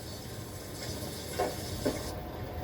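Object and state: Nothing is struck.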